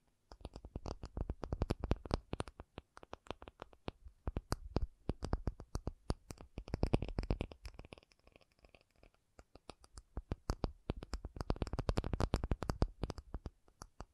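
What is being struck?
Acrylic object.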